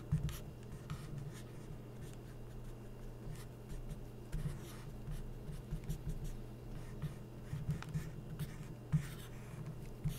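A felt-tip permanent marker tip is rubbed and stroked across an open glossy magazine spread of thin coated paper while tracing. The result is quiet, steady scratchy strokes over a low, constant hum, with brief brighter squeaks where the tip drags harder.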